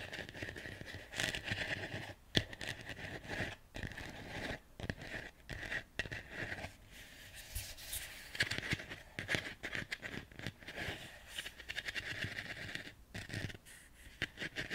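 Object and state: Ceramic plant pot scratched and tapped.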